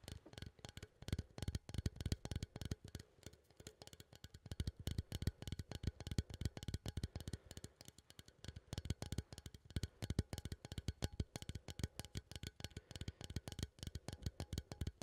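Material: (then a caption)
Metal. A small cylindrical metal coffee tin, held upright, is tapped and scratched with fingertips and nails near the lid. The result is a quiet, rapid, continuous flurry of short, dull taps with a low hollow thump, mixed with faint, light scratching and almost no ring after each hit.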